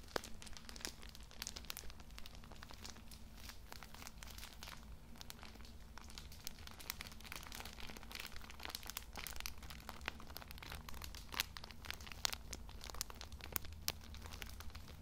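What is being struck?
Plastic-wrapped pocket tissue pack.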